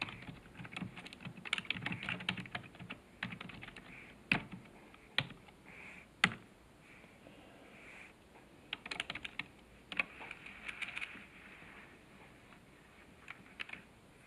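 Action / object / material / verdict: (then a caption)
tap / plastic computer keyboard / plastic / none. Fingertips of both hands type on the keys of a black plastic computer keyboard resting on a desk. Bursts of quick, bright, dry key clicks come in uneven runs with short pauses, and a few sharper, louder clacks stand out from the rest.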